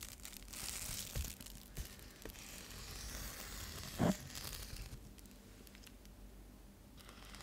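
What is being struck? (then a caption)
Foil-lined bubble mailer. Long nails and fingertips scratch and tap a flat, thin, flexible metallic foil insulated bubble mailer bag. They make a steady bright, crinkly rustle, broken by a few short taps, with the sharpest one landing about four seconds in. The scratching then continues more softly to the end.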